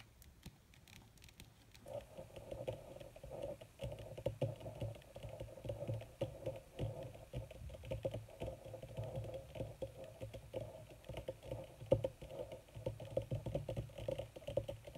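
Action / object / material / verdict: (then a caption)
tap / wrinkled leather sheet / leather / none. Long red nails tap and scratch quickly on a wrinkled black leather (possibly faux) sheet, with both hands working close together. After a near-silent first two seconds, a dense, continuous patter of short, dry clicks and scratches sets in, with a steady midrange tone around 530 Hz and a soft low rumble underneath. The clicks die away almost instantly, and occasional sharper taps stand out above the steady patter.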